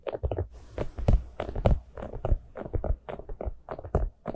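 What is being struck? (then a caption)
Hollow plastic pumpkin cup. Long nails tap the sides of a small, hollow, orange plastic jack-o'-lantern cup with an open top, held in both hands. The result is a quick, uneven run of soft, low, hollow knocks, each with a dull thud and a brief ring that dies fast.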